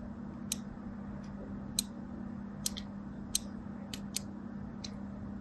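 A craft blade scores lines across the surface of a solid, palm-sized white and teal striped bar of soap held in the hand, with a second soap sitting idle nearby. Short, bright, crisp scratching cuts come at irregular intervals, each dying away almost instantly. A steady low hum runs underneath.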